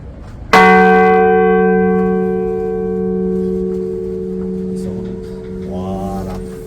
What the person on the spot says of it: c'est uniquement là qu'on va voir cette note précise de la cloche